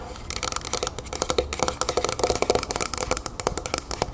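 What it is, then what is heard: Metal aerosol can tapped with fingernails. Long painted nails of both hands rapidly tap all over a medium, hollow, copper-colored metal Vaseline Spray & Go moisturizer aerosol can standing upright on a wooden table. The result is a fast, continuous flurry of sharp, bright clicks with a short hollow metallic ring around 510 Hz.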